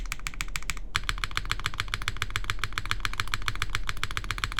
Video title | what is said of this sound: QK Neo65 Cu Build Stream | this sounds solid I mean like it doesn't really sound Hollow it's completely foamless